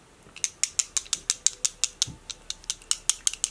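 A new bottle of liquid foundation is shaken, and a mixing ball inside it rattles in a quick run of 17 sharp, bright clicks with almost no low end. Each click is very short and dry.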